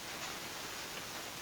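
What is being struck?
Nothing is struck.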